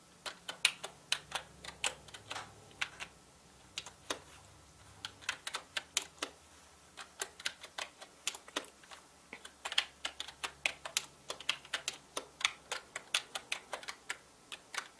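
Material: Plastic.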